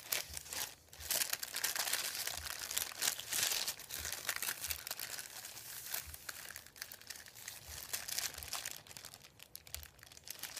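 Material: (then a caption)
Paper. Fingertips rub and crinkle a thin, white, folded sheet of printed paper lying on a wooden table. The result is a dense, irregular stream of bright, crackly crinkling, with only brief quieter pauses between bursts.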